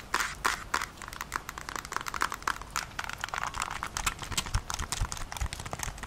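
Long nails tap and scratch across the back and buttons of a Nintendo Switch, a handheld-size plastic console with a hollow body and attached controllers, held in both hands. A quick, dense run of short, dry clicks and scrapes plays out, bright and crisp with a low thump under some taps. Each sound dies away almost instantly with no ring.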